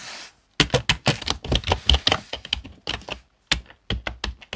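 Fingertips of both hands tap and type on the keys of a full-size black plastic desktop keyboard. After a brief faint hiss, quick, sharp plastic clicks and clacks come in uneven bursts with short pauses between them.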